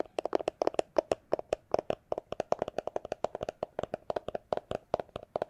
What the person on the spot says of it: it's a plastic glasses holder case